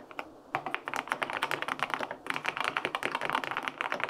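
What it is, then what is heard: Aluminum mechanical keyboard with plastic keycaps. Fingertips type on the plastic keycaps of a white-pink full-aluminum 65% mechanical keyboard with linear switches. A quick, steady run of crisp clacks with short decays follows a soft tap and a brief hush at the start, then pauses for a moment just past two seconds before resuming.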